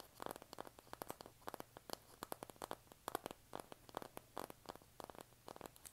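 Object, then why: Cardboard eyeshadow palette tapped with fingernails. Long nails scratch and tap the cover of a flat, rectangular, hand-sized pink printed cardboard eyeshadow palette (BH Vanilla Cream Truffle). The result is a quiet, rapid series of short, dry, papery taps and scratches centered in the midrange, with faint bright edges and no ring after each hit.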